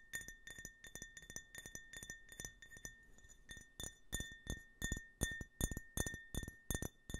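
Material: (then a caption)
Glass. A small, hollow glass tumbler printed with an American flag stars-and-stripes design, apparently empty, is held close to the microphone and tapped repeatedly with fingernails. It gives a steady run of bright, crisp clinks with a short glassy ring around 1.8 kHz. The taps grow louder and more separated toward the end.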